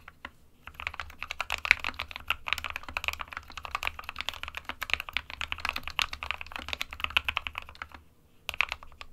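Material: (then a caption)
Plastic. Fingertips of both hands type continuously on an SK61, a small 60% mechanical keyboard with a plastic case and plastic keycaps, hollow with switches inside. A rapid, steady stream of short, bright, clacky key clicks centered around 2.2 kHz runs nearly the whole time, with each click dying away almost instantly. The clicks stop briefly near the end before a final short burst.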